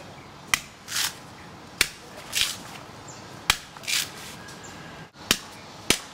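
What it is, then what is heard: Hard coconut shell under the husk. A blade chops at the base of a mature brown coconut and, once through the husk, taps on the hard inner shell, or "bone." Five sharp, bright clicks ring out, with softer scraping swishes between them. The hard shell under the husk has been reached.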